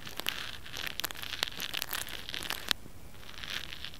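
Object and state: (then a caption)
Plastic hair roller. A small pink plastic hair roller, a hollow cylinder with bristles and a textured surface, is held in one hand and scratched with fingernails. The result is a quiet, steady, bright scratching and crinkling texture, broken by sharp high ticks and clicks with almost no ring after each one.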